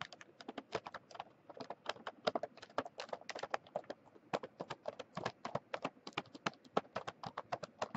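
Fingertips and long nails of a flat hand tap and scratch across the front of a sealed Mint Oreo package, a plastic film wrapper full of cookies. Dozens of quick, dry, crinkly clicks come in an uneven rapid rhythm, each sharp and bright with almost no ring and a mid-range body, over a faint hiss between taps.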